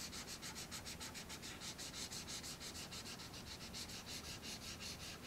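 A marker tip is rubbed hard across a thin sheet of black paper resting on a wooden tray in rapid back-and-forth shading strokes. The result is a quiet, steady, rhythmic scratchy rubbing with a bright, papery hiss that pulses with each stroke.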